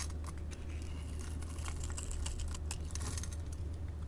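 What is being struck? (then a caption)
Bar of soap scraped with a metal blade. A metal blade scores and scrapes small cubes off a solid orange-yellow bar of soap held in the hand. The result is a steady run of crisp, bright crackling and scratchy clicks over a constant low hum.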